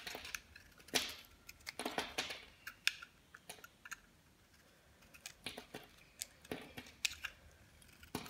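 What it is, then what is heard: Dry bar soap. A metal utility blade peels and cuts crumbly slices from a solid, dry, red-coated white bar of soap with a gold glitter inset, held in the hand. Quiet, bright, crisp scrapes and sharp snapping crunches come in irregular bursts, each dying away almost instantly, with brief hushed pauses between them.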